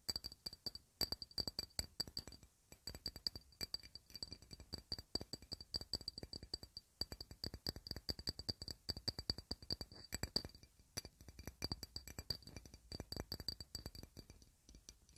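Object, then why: Small clear rectangular glass block. Long red fingernails rapidly tap a small, clear, rectangular glass block that appears solid and is held in the hands. The taps come in quick, continuous bursts of short, dry clicks, each with a brief bright, high glassy ping that dies away almost at once.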